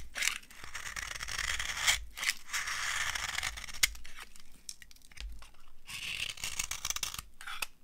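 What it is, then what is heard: Dry soap bar. A solid, dry orange soap bar held in the palm is scraped and carved with a metal knife. Repeated dry, crunchy scraping strokes make a bright, hissy rasp, with short pauses and a few sharp clicks between passes.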